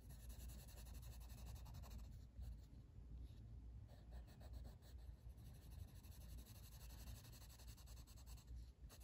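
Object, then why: Wooden colored pencil on a paper page. A blue wooden colored pencil, held in the fingers, is rubbed across a flat paper page of a coloring book lying on a table in shading strokes. The result is a quiet, continuous scratchy rasp with a low rumbling body and faint bright hiss, rising and falling with each stroke.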